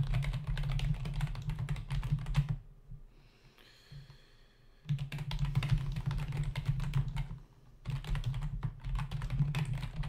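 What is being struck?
Plastic membrane computer keyboard.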